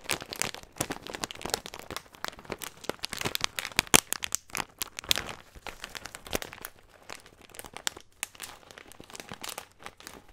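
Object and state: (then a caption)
Plastic bag of nuts being crinkled. Fingertips squeeze and crinkle a small, clear, thin plastic bag with a green label, filled with nuts, close to the microphone. The result is a dense, continuous stream of sharp, bright crinkles and crackles with almost no low end. The crinkles come in bursts that are busiest in the first half and then thin to quieter, sparser rustling.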